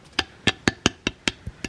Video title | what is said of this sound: My Reel is On FIRE | they're just solid bone that's all ribs